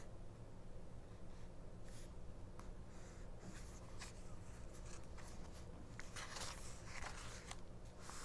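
Long nails scratch and tap along the page edges and glossy ad pages of a small open 1999 paperback mini-book resting on a cloth. Soft, dry bright scratches and light ticks come in scattered bursts over a steady low hum. The sound stays quiet throughout.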